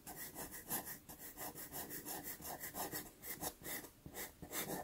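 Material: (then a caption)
Paper. A white pastel pencil scratches quick hatching strokes across a small taped sienna Pastelmat card. The result is a quiet, steady run of short, bright, rasping strokes in an even back-and-forth rhythm.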